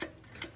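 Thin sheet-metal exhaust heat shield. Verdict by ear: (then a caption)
Loose. Two short, bright metallic ticks with a brief ring come from a metal exhaust heat shield under a car as one side of it is moved by hand. That side is not hooked up and has rotted through, so the loose shield knocks instead of staying fixed.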